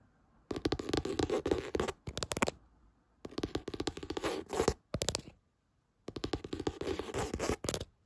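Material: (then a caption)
Cardboard. Fingertips tap and scratch across the textured hard cover of a light blue "Happy Thoughts" hardcover spiral notebook with gold spiral binding, lying on a bed. Rapid dry scratching taps come in three bursts, each broken by short pauses and separated by brief silences.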